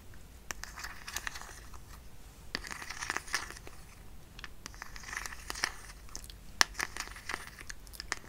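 A small, partly full white plastic hand cream tube is held in both hands close up while fingertips and short nails tap, squeeze and crinkle it. Soft crackling and crinkling run throughout, with sharp, bright clicks and taps scattered across the clip and a few louder snaps standing out near the end.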